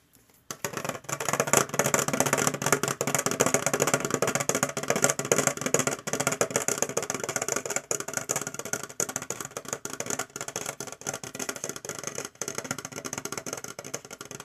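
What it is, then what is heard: Metal tin box. An orange metal tin box with Goosebumps branding is tapped repeatedly with quick, uneven taps. It gives bright, short metallic clicks and ticks with almost no ring, continuing steadily after a brief silent start.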